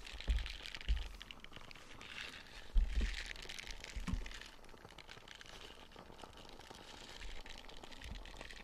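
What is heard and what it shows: A small light-blue silicone dish scrubber with soft nubs is held in the hand while fingernails scratch across the nubs and the scrubber is squeezed. Quiet, continuous scratchy crinkling fills the clip, broken by a few soft low thumps and squishes.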